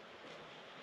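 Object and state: Nothing is struck.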